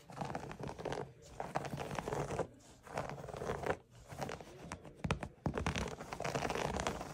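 Fingertips and nails scratch along a flat woven jute/natural fiber rug with raised grey, white and orange yarn stripes, while a different rug lies untouched nearby. The sound is dry, rough scratching in uneven bursts with brief quiet gaps, with crisp fibrous rasps reaching high.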